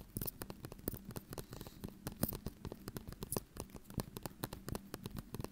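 A small glass ketchup bottle with a white cap, partly full of red ketchup, is held in both hands and tapped and scratched with the fingertips and nails. The result is a fast, uneven stream of short, dry, quiet clicks and scratchy ticks that stop almost instantly, over a faint low steady tone.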